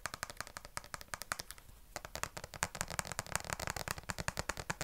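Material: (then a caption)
Plastic. Long nails tap and scratch the slotted plastic back and sides of a black plastic vented detangling brush. Rapid, sharp clicks with bright high-frequency content come in quick bursts, broken by a brief quieter scratchy pause just before the two-second mark. The tapping then resumes even denser and louder.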